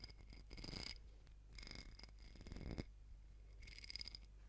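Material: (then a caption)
Glass. Long nails tap and scratch the sides and rim of a small ribbed glass candle jar filled with solid pink wax, held in both hands close to the mic. The quiet clip has bursts of bright, rapid clicking and scraping with a high glassy ring, over a steady low hum.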